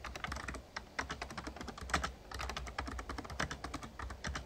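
Rapid fingertip typing with both hands on an RGB-backlit plastic Razer Ornata Chroma membrane gaming keyboard with a hollow casing. A quick, uneven stream of key taps pairs bright clacks with a low, hollow thump under each stroke. The taps die away quickly with no lingering ring.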